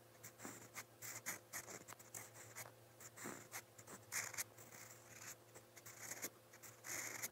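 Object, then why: Paper notebook page under a metal pen nib. A metal fountain pen nib scratches strokes onto a lined white paper notepad resting on a desk. Short, bright, dry scratching bursts come in an irregular rhythm over a faint steady low hum.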